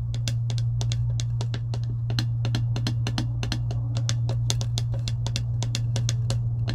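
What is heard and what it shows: Long acrylic nails tap and scratch the surface of a clear plastic lid on a metal tumbler. Quick, irregular bright clicks sit over a steady low hum that carries most of the sound's energy.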